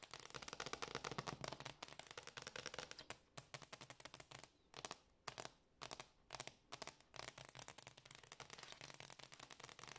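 Long, dark-painted fingernails on both hands rapidly tap and scratch a large, solid, dark glossy hardwood floor. Dense bursts of sharp, bright clicks and scratchy crackles come in quick runs, with short quiet gaps in the middle. Each tap dies away almost instantly.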